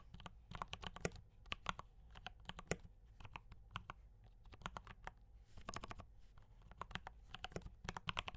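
Fingertips type on a mechanical keyboard with D84 brown switches and cream and red plastic keycaps. A quick, steady stream of short, dry clacks follows, each with a low thock and a bright click that dies away almost at once.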